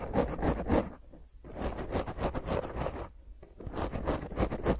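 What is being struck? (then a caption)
Foam microphone windscreen. Long painted nails on both hands scratch and scrape a black round foam microphone windscreen. Fast, rough, rustling strokes come in dense bursts with two brief quiet gaps. The sound is close and full-bodied, with a low rumble under the scratching and bright airy edges on each stroke.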